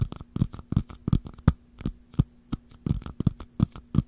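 Long nails rapidly tap and scratch the dome and ridged lid of a small, round, hollow clear plastic jar with a swirled blue-green pattern, held upright. It makes an uneven run of about twenty quick taps, each a dull, low, hollow knock with a short bright click on top that dies away almost at once. Faint scratchy rustles fill the gaps between them.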